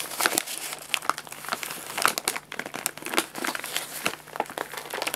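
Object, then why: Printed paper food bag. An empty, hollow printed paper guinea pig food bag, its top folded over, is crinkled and rubbed with fingertips on the lap. Dense, bright crinkling and crackling fills the clip in quick uneven bursts, with sharper snaps standing out and almost no low end.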